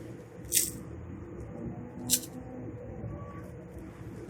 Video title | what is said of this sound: لاجواب مسالا فرائزکرسپی فنگرچپسAloo Suji Crispy Fingers Recipe Aloo aur Suji Ke Fingr ChipsI Crispy | इसकी आवाज से पता चल रहा है कि ये कितने क्रिस्पी हैं